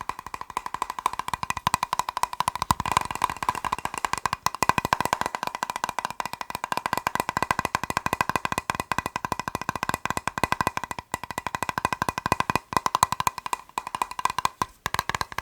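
A plastic box is tapped rapidly and continuously for about 15 seconds, making a dense run of sharp, dry clicks. Each tap dies out almost at once, with a hollow tone centered near 1 kHz and little low end. The tapping stays steady and fast throughout, with a few brief gaps.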